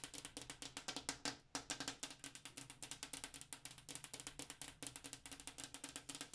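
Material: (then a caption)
Glass. Long black-tipped acrylic nails tap rapidly on a large, flat, solid-pane glass bathroom mirror, producing about 49 quick, bright clicks with very short decay. A faint tonal ring sits near 273 Hz beneath the crisp, high ticks, in an uneven, drumming rhythm.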